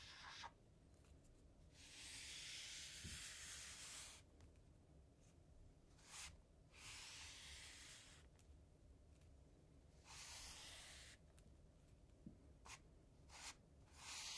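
Fingers slowly draw a small miniature zen rake with a light wooden or bamboo handle through a shallow tray of loose, dry, dark cocoa powder, scratching furrows. Long, soft, bright hissing scrapes come in drawn-out strokes, separated by quiet pauses and a few short, sharp ticks.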